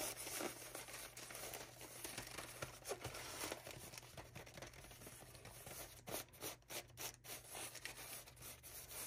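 Fingertips and nails rub, scratch and crinkle the thin plastic wrap on a pack of paper towel rolls lying on a counter. A steady, hissy crinkling fills the first six seconds, then it breaks into quicker, sharper scratching bursts toward the end.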